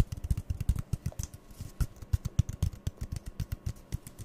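Fingertips and nails rapidly tap two identical empty, hollow brown cardboard toilet-roll tubes, one held in each hand. About 27 quick, dry, hollow thumps land in a fast, uneven rhythm. They are deep and muffled, centered near 105 Hz, with faint bright clicky edges and almost no ring.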